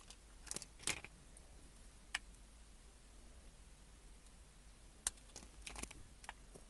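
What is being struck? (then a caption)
Bar of soap cut with a small blade. A small metal blade cuts and scrapes grooves into a pale yellow-cream, hand-sized rectangular bar of soap held in the fingers, curling flakes off its surface. Quiet, crisp, bright scraping and clicking cuts come in short, sharp bursts, spread irregularly over a soft, steady background hiss.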